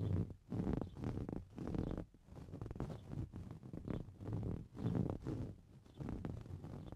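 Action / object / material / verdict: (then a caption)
scrape / coarse-weave fabric cushion / fabric / none. Fingernails scratch the textured surface of a green coarse-weave fabric cushion. The scratching comes in repeated muffled bursts of dense scraping, with most of its energy in a low rumbling range and almost nothing bright.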